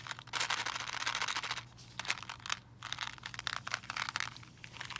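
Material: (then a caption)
Plastic. A full, clear plastic candy-cane tube filled with candies is moved and shaken while fingernails tap on the tube. The candies rattle inside with a dense, bright, crinkly clatter and sharp clicks, easing briefly partway through before the rattling picks up again.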